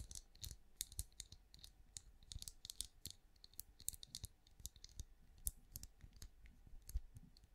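A hand-sized, cream, pinecone-shaped wax candle that appears solid, held on the palm, is tapped with long acrylic nails. Quick, quiet, delicate clicky taps carry bright high ticks over soft low thumps. Each tap stops dead with no ring.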